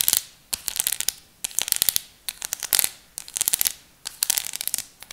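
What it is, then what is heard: Plastic nail colour swatch chart. Long acrylic nails tap and scratch across a flat plastic nail color swatch chart, a display card with many sample nail tips glued on, held up in the air. Quick bursts of crisp, bright clicking and scratching come in short groups with brief pauses between them. The sound is thin and high-pitched, with almost no low end.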